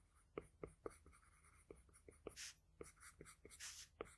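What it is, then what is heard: Graphite pencil drawing on paper. A wooden graphite pencil tip strokes across a sheet of flat drawing paper while drawing a nose and lips. Twelve short, sharp pencil taps and ticks are heard, between longer soft, bright scratching strokes. The sound is quiet and dry, with no ring.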